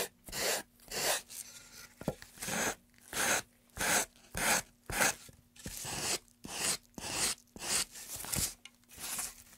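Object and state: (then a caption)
Carved pine tray being sanded. A gloved hand holds a solid, light-wood carved pine tray while a piece of sandpaper is rubbed over its edges and surface. About fifteen separate, uneven sanding strokes make a dry, bright rasp with short pauses between them.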